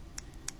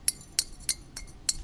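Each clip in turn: First: unfired bone-dry clay, dull wood-like tick. Second: bisque-fired clay bottle with a glass-like ring.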